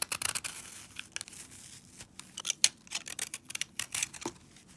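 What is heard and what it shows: A palm-sized green and blue foam sponge, frozen solid with soap and held in brown knit gloves, is shaved with a metal utility-knife blade, scraping off icy shavings. A rapid series of short, crisp, bright scraping and crunching strokes is heard, with almost no low end and each stroke cutting off quickly.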